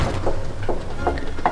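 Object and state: Fake marble surface.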